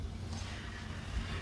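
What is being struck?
Nothing is struck.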